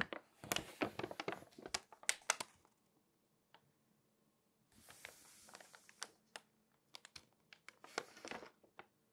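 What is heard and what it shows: Long acrylic nails tap and scratch the pages of an open glossy paper magazine and turn them, making quick, sharp clicks and bright crinkly rustles. A flurry of taps fades to near silence, then a hissy page-turn crinkle returns with more scattered, crisp taps that end quietly.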